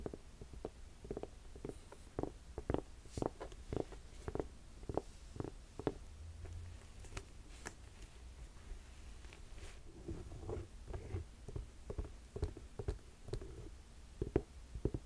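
Long nails tap and scratch a black suede ankle boot with three metal buckles, held empty in the hand. The result is a quiet, steady run of short, dull, low-pitched taps with soft scraping between them and no ringing.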